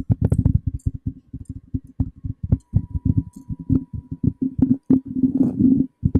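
Fingertips and short nails tap and rub the hollow body of a black cylindrical metal condenser microphone on a stand, producing a rapid series of about 35 dull, boomy thumps centered low around 90 Hz that die away almost instantly. Toward the end, the taps blur into a denser, muffled rubbing texture before a few final separate knocks.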